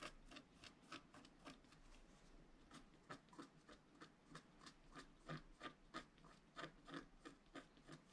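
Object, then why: Scratch-art paper card scratched with a wooden stylus. A pointed wooden stylus held in the fingers scratches a flat, black-coated scratch-art card, about A4 in size, lying on a cloth-covered table while the other hand steadies the sheet. About two dozen short, dry scraping strokes follow one another in a quick, fairly uneven rhythm, each a brief raspy burst with a bright edge. The strokes grow more distinct and pronounced toward the end.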